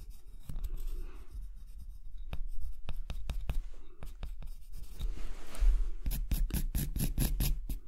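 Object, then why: Wooden block. A marker pen tip is drawn over a large, solid rectangular block of light wood held flat on a dark surface, tracing a spoon outline. It makes dry scratching and rubbing strokes along the grain over a low, dull rumble. The strokes come as quick, crisp ticks and turn brighter and more rapid toward the end.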